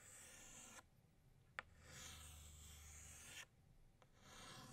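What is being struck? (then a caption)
Chalk stick on a chalkboard. An orange chalk stick draws new circles on a flat black chalkboard in long, bright scraping strokes. Two sustained rasping passes are separated by quiet gaps, and a short sharp tick of the chalk against the board is heard in each gap.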